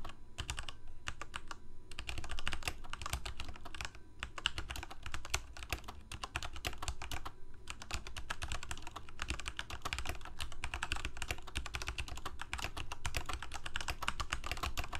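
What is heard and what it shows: Fingertips of both hands type rapidly on a full-size Corsair K68 backlit plastic mechanical keyboard with Cherry MX Red switches. A dense, steady stream of short key taps sounds throughout, each a low thud topped by a bright click, with brief lulls near 1, 4 and 8 seconds. Faint music sits underneath.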